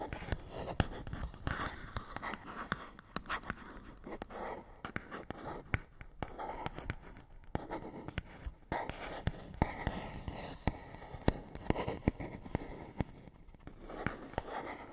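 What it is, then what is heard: Cardboard box being scratched. A fingernail scratches across the face of a small, hollow printed paperboard box. Many short, dry scratching strokes come in quick, irregular bursts, with a soft hollow body beneath the rasp, at a quiet level over a low background hum.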